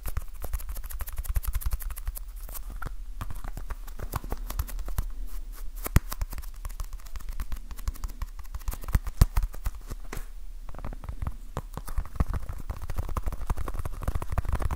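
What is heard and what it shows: Fingertips tap fast on a small, soft, solid orange foam stress ball with a basketball pattern, held in one hand. The result is a dense, continuous stream of short, dry, muffled taps with a low thud, with no ring after each hit.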